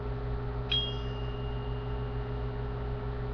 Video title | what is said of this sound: Different tsuba sounds | that ringing noise, and it's way higher pitched than the other tsuba